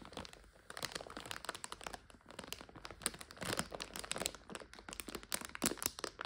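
A clear plastic bag full of dried egg noodles is handled: long nails tap and scratch the front while fingers crinkle the top. The result is a dense run of sharp, bright crinkles, crackles and clicks with little low end, each one short and dry.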